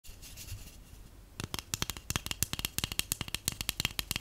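A hollow, empty white cardboard tube (a paper towel roll core) is held in the hands and scratched, then tapped, with long painted acrylic nails and natural nails. A soft, hissy scratching for the first second and a half gives way to about two dozen quick, sharp, dry clicking taps with almost no ring.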